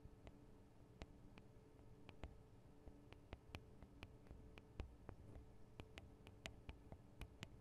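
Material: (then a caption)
Metal. Long acrylic nails on both hands tap the small hollow metal microphone capsules of a Tascam DR-40 recorder. About twenty quiet, sharp, bright clicks with almost no ring come in an irregular run, over a faint low hum and soft hiss.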